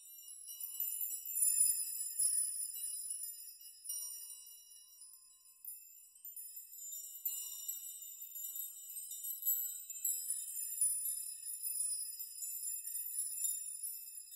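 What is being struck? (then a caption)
Hanging thin metal nails. A chime of thin metal nails hanging in an array is gently rocked and brushed with fingertips, so the nails knock together. The result is a continuous, delicate, high tinkling shimmer with overlapping bright metallic rings that swell and fade, with no low end.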